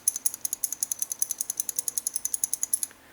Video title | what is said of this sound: SKS Rifle "How to Prevent Slam Fire" - DIY | this is what your bolt should sound like if it's if it's clean and ready to be fired